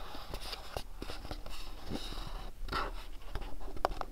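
Fingernails tap and scratch the printed surface of a small, hollow, house-shaped cardboard sleeve gift box from MyLittleBox, held in both hands. Dry, soft scraping and light tapping blend into a steady, close patter, with a few sharper taps standing out near the end.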